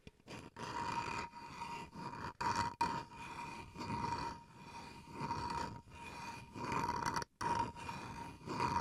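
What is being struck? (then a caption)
Small bamboo wood chopping board. Fingernails scratch the flat face of a small, solid bamboo wood cutting board, then its edge while the board is held upright. The result is a series of rough, rasping strokes with a steady ringing tone near 940 Hz and a bright, airy hiss.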